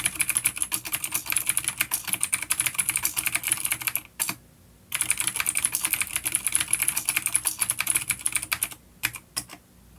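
Both hands type rapid fingertip key taps on a full-size black plastic vintage mechanical keyboard with grey keycaps, a coiled cable and clicky blue switches (an A-grade unit) resting on a wooden desk. The dense, bright, sharp clicks carry little low end and barely ring. Typing pauses briefly around the four-second mark and again near the end.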